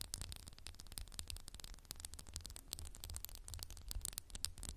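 A candle in a textured glass jar is tapped rapidly with fingernails, producing a dense stream of quiet, dry clicks with bright, glassy high ticks. Each tap stops almost instantly, over a steady low hum.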